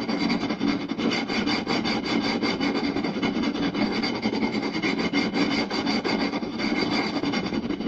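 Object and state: Wooden plate being scratched and tapped.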